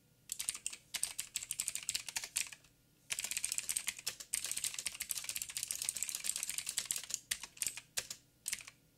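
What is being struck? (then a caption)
Plastic mechanical keyboard. Fingertips of both hands type rapidly on a backlit 87-key mechanical keyboard with plastic keycaps and clicky blue switches. Dense bursts of sharp, bright clicks and clacks stop briefly near the three-second mark, then resume, thinning into scattered keystrokes toward the end.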